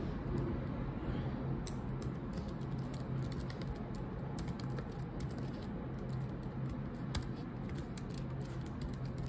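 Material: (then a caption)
Plastic. Long acrylic nails tap and click the black plastic keycaps of a laptop keyboard while typing, producing a steady stream of quick, bright clicks. A constant low hum sits underneath the clicks throughout.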